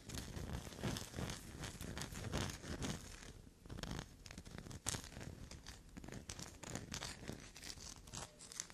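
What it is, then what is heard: Black soap bar being scratched. Long black nails rapidly scrape and scratch a solid black soap block that already bears scratch marks. The result is a dense, irregular stream of dry, crackly scratching with a tearing, crinkling texture and soft low thuds, broken by a brief quieter lull in the middle.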